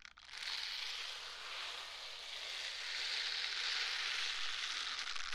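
A pair of pink silicone scrubber gloves is worn on both hands, with the gloved palms and fingers rubbed against each other beside the mic. The result is a continuous, dense, crunchy rubbing noise that is bright and hissy. It has little low end and swells slightly louder toward the end.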